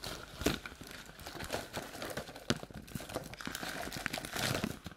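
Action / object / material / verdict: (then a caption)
tap / paperboard treat bucket / paperboard / none. A hollow, empty paperboard Halloween treat bucket is turned in the hands while long nails tap and scratch its outer surface. Quick, dry taps and papery scratching blend into a crinkly texture with bright edges, punctuated by a few sharper clicks that die away almost instantly.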